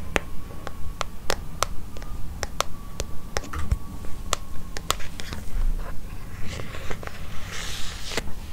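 Long fingernails tap and scratch the leather cover of a closed, brown leather-covered notebook with a red ribbon bookmark, held upright beside the microphone. Sharp, dry clicks come at a quick, fairly steady pace of about two per second, with no ring after each one. Toward the end, soft scratchy rustling mixes in over a faint low hum.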